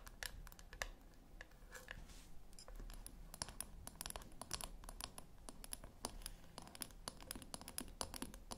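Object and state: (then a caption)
Small round metal tin. Long acrylic nails tap and scratch the lid and sides of a small, round, silver metal tin, likely hollow, resting on a white cloth on a wooden table. Quick, dry clicks with a bright edge arrive in uneven bursts over a soft scratching texture, each dying away almost at once. A steady low rumble runs underneath.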